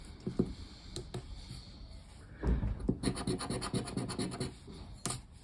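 A hand scratches the silver coating off a thin cardboard paper lottery scratch-off ticket lying flat on a wooden table, using the edge of a black plastic disc. Light, scattered scratches in the first half give way to louder, denser rasping strokes from about the middle onward, with a final sharp scrape near the end.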